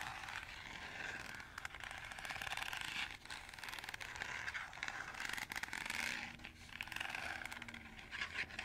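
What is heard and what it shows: Fingernails scratch along the slotted ridges of a green, perforated plastic colander that is held up, hollow and empty. The result is a steady, bright, raspy scraping made of rapid ridged clicks, centered around 2.2 kHz, with little low end.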